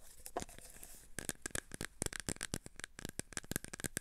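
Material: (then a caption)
Plastic. A clear plastic tub full of cotton swabs is held in both hands while fingertips and nails tap and scratch its sides. A soft, steady scratching rustle opens the clip, then it breaks into a quick run of about nineteen sharp, bright taps and clicks that stop dead with almost no ring.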